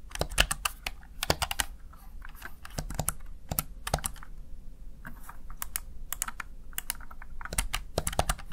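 A Razer Tartarus Chroma plastic backlit gaming keypad is tapped by fingertips pressing its keys. Quick, crisp clicks with bright tops come in uneven bursts over a low steady hum, each one dying away almost at once.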